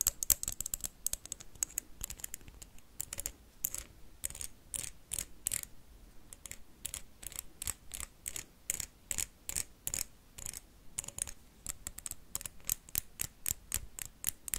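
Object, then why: Wax candle. Paperclips rapidly tap and scratch a blue wax candle, giving dozens of quick, dry, bright clicks with short scraping strokes between them. Each tap dies away almost instantly, and the quiet, steady run of crisp ticks sounds much like fast typing.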